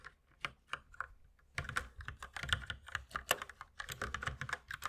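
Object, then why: Plastic mechanical keyboard. Fingertips type steadily with both hands on a compact white mechanical keyboard with plastic keycaps. A few sparse, sharp clicks give way after about a second and a half to a faster, denser run of bright, short keystrokes with a clacky tone around 1.7 kHz.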